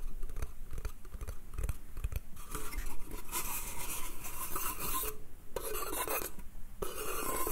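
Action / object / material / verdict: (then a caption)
scrape / small pine slatted crate / pine wood / none. Fingernails scratch and rub the slats and top edge of a small, empty, hollow pine slatted bath crate. Short raspy scratches come first, then longer, brighter rubbing strokes carry over a dull, low wooden body.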